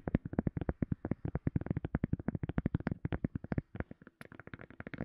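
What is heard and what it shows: A silicone cup lid is tapped rapidly with the fingertips, about 40 quick, dull, low-pitched taps that die away almost instantly. The tapping runs steadily, with a brief pause just before 4 seconds, and one sharper, brighter tap follows soon after.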